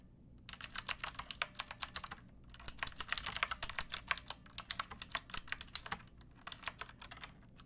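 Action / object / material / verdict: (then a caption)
tap / plastic mechanical keyboard with round keycaps / plastic / none. Long nails and fingertips type on a backlit pink mechanical keyboard with round plastic keycaps and a hollow plastic case. The keystrokes are bright, crisp clicks with very short decay. They come in three quick bursts separated by brief pauses.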